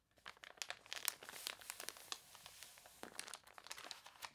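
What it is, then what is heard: Glossy catalog paper being crinkled. Long nails rub, press and crinkle the warped glossy pages of a thick paper toy catalog. Dense, bright crinkling and crunching fills the clip, with sharp papery snaps rising over a steady rustle and almost no low end.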